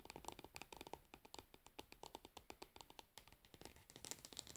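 Long nails tap and scratch the label area on the pink plastic lid of a plastic cosmetic jar lying on its side. The result is a rapid, uneven series of quick, dry clicks with a bright, crisp edge and a faint scratchy texture. Each tap dies away almost instantly, with very little low end.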